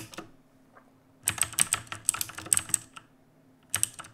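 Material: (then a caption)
Plastic. Fingertips type on a black full-size mechanical keyboard with plastic keycaps. After a faint tap or two at the start, a quick run of bright, sharp clicks fills the middle, followed by a pause and a final short burst of keystrokes. Each click stops almost at once, with no ring.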